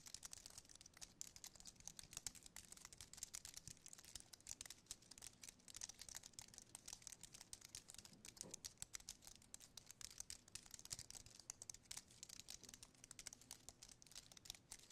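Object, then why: Aluminium and plastic keyboard. Fingertips type and tap on the keys of a slim white aluminium and plastic wireless keyboard. The result is a quiet, steady stream of rapid, bright clicks with almost no low end, each tap dying away almost instantly.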